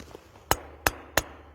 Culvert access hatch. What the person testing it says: Ça sonne ça sonne creux làdedans normalement